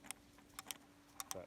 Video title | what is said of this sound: This is why I love the BMW E38!!! I bought a 1995 BMW 730iL that barely ran and fixed it for $4!!! | she's way looser than she was